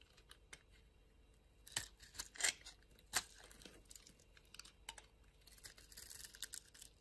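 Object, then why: Bar of soap scraped with a knife blade. A utility knife blade slices and scrapes thin layers off a small, solid, blue-and-white striped bar of soap held in the palm. The result is quiet, bright, crisp scraping and tearing in irregular strokes, with a few louder cuts early on and a steadier run of soft shaving toward the end.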